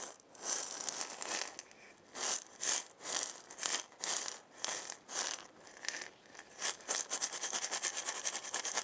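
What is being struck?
Wooden maraca with a hollow body and loose filling.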